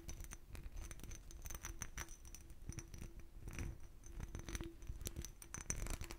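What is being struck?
Small glass bottle with a bumpy raised pattern.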